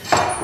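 An old forged iron keris blade, the oldest Winongan keris from the Singasari era with a tambal dapur, is knocked once. A single sharp metallic tap rings out with a clear mid-pitched tone around 715 Hz and a faint high shimmer, decaying over about a quarter of a second.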